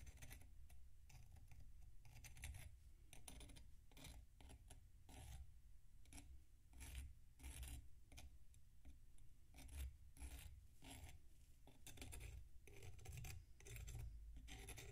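A metal knife blade scrapes across a solid packed sand block resting on a plate. Quick, bright, gritty rasps repeat steadily over a soft, constant low rumble, and each stroke ends abruptly with no ring.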